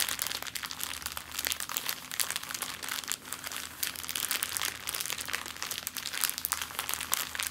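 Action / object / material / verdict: scrape / plastic zip-lock bag / plastic / none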